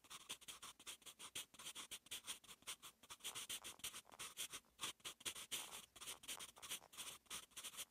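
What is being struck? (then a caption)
Graphite pencil on paper notebook page. A wooden 8B graphite pencil held in the fingers writes Korean handwriting on a lined, lightly textured notebook page lying flat. The result is a quiet, steady run of short, bright scratching strokes. Each stroke is dry and crisp, with almost no low end.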